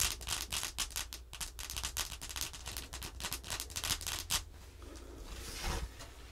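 The tip of a thin black makeup brush handle traces and scratches along the printed 5 on a thin laminated cardboard flash card lying flat on a wooden table, with long-nailed fingers near the card's edge. A rapid series of dry, bright scratching strokes runs for about four seconds over a steady low hum. It then eases into a softer, smoother swipe that swells briefly near the end.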